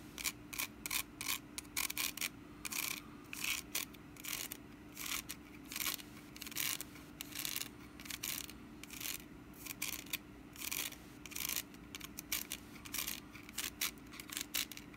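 Long nails scratch the woven sides of a small, hollow, orange wicker pumpkin held in the hand. The result is an irregular run of short, dry, bright scratching bursts over a faint steady low hum.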